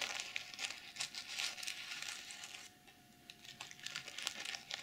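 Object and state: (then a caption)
Plastic sequins being scratched. Long nails brush and scratch across the reversible sequins of a plastic sequin pouch, making bright, crinkly scratching and rustling with quick, sharp ticks. The sound runs almost continuously, dips into a quieter stretch around the middle, then picks up again with sharper flicks.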